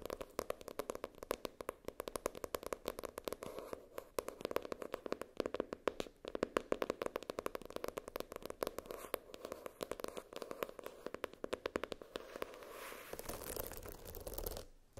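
Long nails tap rapidly on the hard cardboard cover of a floral-printed hardcover spiral notebook and scratch near its wire spiral. Dense, quick, dry clicks sit around a mid pitch with almost no ring. Near the end they give way to a steadier scraping rustle.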